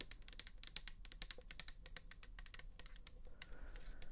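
Long nails tap rapidly on the bare plastic back and side of a pink plastic toner bottle filled with liquid. The result is a quick stream of quiet, dry, bright clicks that stop short, over a soft low background hum.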